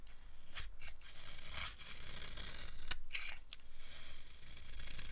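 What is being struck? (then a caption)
Bar of soap scraped with a blade. A green-handled blade scrapes crunchy curls off a solid, dry green soap bar held in the palm. A series of crisp, bright scraping strokes crackles over a steady low rumble.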